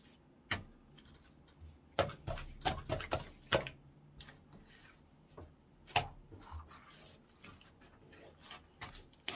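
Orange clear slime is poked, stretched upward by hand and folded on a wooden counter. It makes short, wet, sticky clicks and pops with a bright crackle, separated by quiet gaps. The pops are loudest in a quick cluster in the first few seconds and again near the sixth second.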